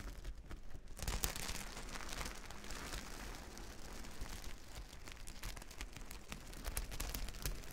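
Long nails sweep across a reversible plastic sequin fabric sheet, flipping the sequins to silver. A dense, steady crinkly rustle of many tiny scratchy clicks fills the clip, bright on top over a low rumble, picking up just after the first second and staying fairly even to the end.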